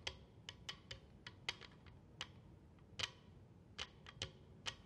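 Long acrylic nails and fingertips tap and drum in a flamenco-style rhythm on the face of a flat, solid, light-coloured wooden cheeseboard (cutting board), roughly 30-40 cm long, held upright on its edge on a table. Thirteen sharp, bright clicks ring out around 3 kHz, each dying away almost instantly over a faint low hiss.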